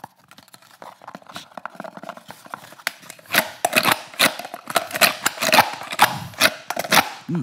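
Fingertips and nails tap and scratch a handheld multicam-patterned rigid kydex plastic holster with a pistol seated in it, held up close. It makes a quick, uneven run of sharp, bright plastic clicks and scratchy rasps, soft at first and growing louder and denser after about three seconds.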